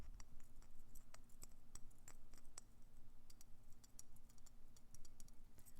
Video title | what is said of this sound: Colorful Christmas Ornament and Present Tapping ASMR, Soft-Spoken | He's quite dense as you might hear